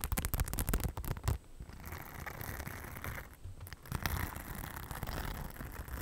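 Long black-painted nails scratch the rhinestone-covered front panel of a hollow beige faux leather crossbody bag held close to the mic. Quick, dense clicking scratches in the first second and a half give way to a softer, steady rasping. The sound is low and rumbly, with a faint high hiss over it.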